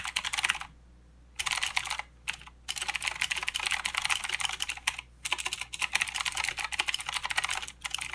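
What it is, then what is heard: Plastic mechanical keyboard. A full-size mechanical keyboard with plastic keycaps and blue clicky switches is typed on by fingertips of both hands. Bright, crisp clicks come in quick bursts, broken by a few short pauses.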